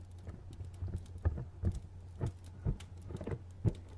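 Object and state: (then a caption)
Cardboard box tapped with fingernails. Fingernails tap a medium, hollow, printed cardboard retail box in a loose, uneven rhythm. The taps are short, dull and hollow, with little ring, and sit over a steady low hum.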